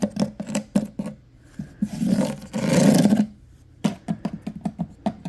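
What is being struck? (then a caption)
Wooden cabinet with bamboo or reed slat drawer fronts. Fingertips and nails tap and scratch along the vertical bamboo or reed slats covering the drawer fronts of a medium-sized solid wooden cabinet or dresser, and along its wooden top edge. Quick, dry, woody taps open the clip, give way to a longer, louder rasping scratch across the ribbed slats, then resume as a brisk run of light knocks with a low, hollow body.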